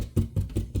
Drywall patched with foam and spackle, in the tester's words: I'm tapping the wall where the hole was, and you can hear it. It's solid on both sides.